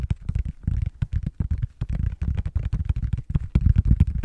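Fingertips and short nails tap and scratch the back of a blue silicone/rubber tablet case held in both hands. The result is a rapid run of dull, muffled, low-pitched thuds with almost no ring, each dying away almost instantly, broken up by faint scratchy ticks.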